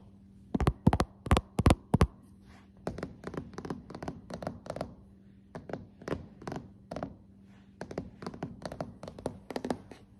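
Fingertips and long nails tap on solid, glossy dark hardwood floorboards. A few loud, sharp, dry taps open the clip, followed by quicker, softer clusters of tapping with brief pauses between them. Each tap is short and thudding, over a faint steady low hum.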